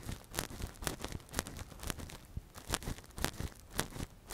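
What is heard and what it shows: A gloved hand scratches and probes inside the hollow ear canal of a soft, translucent, hand-sized silicone ear model (a binaural microphone cover) with a thin metal earpick. The result is a close, irregular series of dry scratching and crinkling bursts, each a brief broadband streak reaching bright highs over a low rumbling base.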